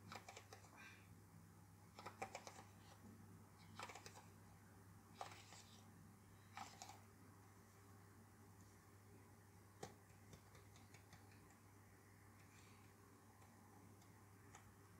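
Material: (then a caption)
Leather. Fingertips and nails tap and scratch the toe and side of a small black lace-up leather-look boot worn by a doll, which stands on a white surface. Short, bright ticking taps and light scratches come in uneven clusters over a quiet, steady low hum.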